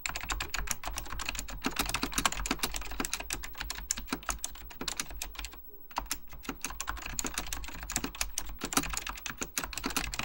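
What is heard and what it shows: Fingertips type continuously on a beige plastic full-size Apple Extended Keyboard II, with hollow plastic keycaps clacking over mechanical switches. Dense, rapid, bright clicks with short, dry decay are heard, with a brief pause just before the six-second mark before typing resumes.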